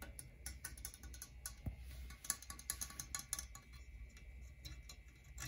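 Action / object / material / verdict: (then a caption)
tap / metal condenser microphone body / metal / none. A medium-sized silver metal USB condenser microphone, with a hollow metal body and a knob, sits on a wooden stool and is tapped directly on its body with fingertips and nails. It gives a rapid, irregular run of short, bright, clicky ticks that die away almost at once, over a steady low hum, with a single duller thump near the middle.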